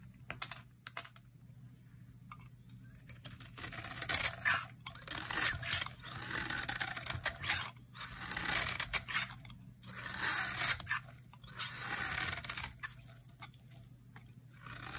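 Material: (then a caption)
Soap. A utility knife blade shaves flakes off a solid, hand-sized, dry orange bar of soap with an embossed label. The clip has a series of bright, crisp scraping strokes, each a burst of papery hiss, separated by short quiet gaps over a faint low hum.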